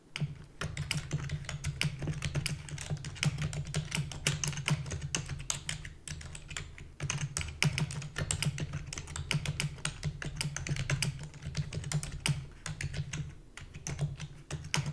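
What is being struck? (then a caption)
Plastic computer keyboard. Rapid typing with long fingernails and fingertips on a full-size black plastic computer keyboard with a hollow body. It makes a dense, continuous stream of sharp, bright clicks and clacks that die away quickly, over a steady low hum.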